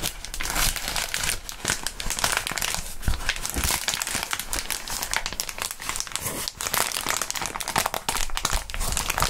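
Clear polyethylene bubble wrap with hollow air bubbles is held close and squeezed and crumpled by the fingertips of fingerless-gloved hands. The result is a dense, continuous crinkling with bright, crisp crackles and soft low rustles throughout, with no pops standing out.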